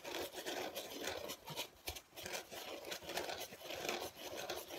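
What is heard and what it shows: Fingertips squeeze and scratch the surface of a large, flat, light, soft, dark grey/black speckled foam packaging insert with cut-out slots, held in both hands. The result is a near-continuous dry, scratchy rubbing and rasping with a bright hiss and a midrange body, almost no low end, and short dips between strokes.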